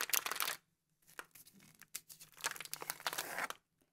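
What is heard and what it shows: A full Frutigran biscuit roll in a crinkly plastic wrapper lies on a table while a bare hand and a black-gloved hand press, squeeze and crinkle the wrapper. A dense burst of bright, crackling crinkles is followed by a brief silence, then a longer run of crunchy rustling that swells and fades. A faint tick ends the clip.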